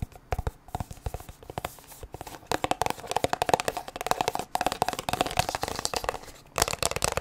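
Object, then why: Plastic squeeze tube. Long nails rapidly tap and scratch a white plastic sunscreen squeeze tube with a blue cap that appears full. The sound is a dense run of sharp, clicky taps mixed with bright, crinkly scratching and a faint hollow ring around 730 Hz. Brief pauses break up the bursts.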